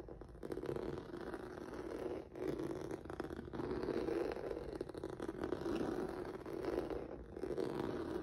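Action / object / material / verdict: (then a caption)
scrape / textured rubber noodle mat scratched with fingertips / rubber / none. Fingertips and nails scratch the surface of a flat black rubber or vinyl mat with a noodle texture. The result is a steady, dense scraping rustle centered low-mid around 350 Hz, with almost no highs. It dips briefly near 2.3 s and again around 7.2 s.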